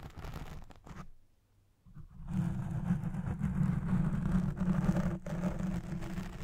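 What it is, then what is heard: Foam microphone windscreen scratched. Long nails scratch the top and side of the black foam windscreen on a recording Blue Yeti Pro microphone. The result is a dense, muffled, low rumbling scrape concentrated in the bass. It drops to near silence briefly around the first second, then returns louder and steadier.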